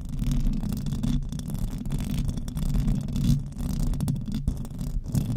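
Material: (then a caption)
Metal mesh. Long nails on both hands scratch the hollow metal mesh grille of a silver desktop microphone. The result is a dense, continuous rumbling scrape, heavy in the low end with almost no brightness, swelling and dipping slightly for about five seconds.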